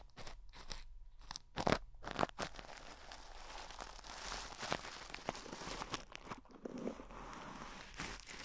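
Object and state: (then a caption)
Plastic cling wrap over a microphone, brushed. A soft makeup brush is rubbed and brushed across clear, crinkled plastic cling film wrapped tightly over the hollow metal grille of a microphone head. The result is a close, continuous crinkling and crunching texture with scratchy brushing noise and several louder crackling bursts. Throughout, the sound stays bright and papery over a faint low rumble.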